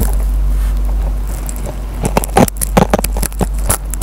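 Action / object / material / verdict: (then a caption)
scrape / foam kitchen sponge with nylon scouring pad / nylon, foam / none. A metal pen tip scratches and plucks the fibers of the green nylon scouring pad on a dry yellow foam kitchen sponge. A steady low hum fills the first half, then sharp, irregular scratchy crackles and snapping plucks break out through the second half.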